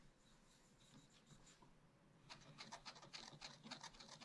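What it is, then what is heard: Scratch-art paper being scratched. A wooden stylus scratches rapid hatching into black wax-coated scratch-art paper in a spiral-bound pad, etching a round tree. Soft, faint scratching in the first two seconds gives way to a louder, quick run of bright, rasping strokes that continue to the end.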